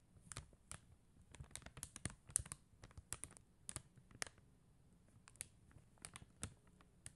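Long mint-green nails tap and scratch across a flat white plastic rhinestone sticker sheet covered in blue and clear faceted plastic gems, lying on a gold glitter surface. The result is a quiet, irregular run of short, sharp clicks with bright high edges and soft low thuds, each dying away instantly with no ring, like light typing.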